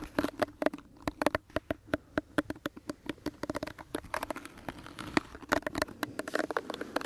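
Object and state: Plastic hairbrush bristles flicked.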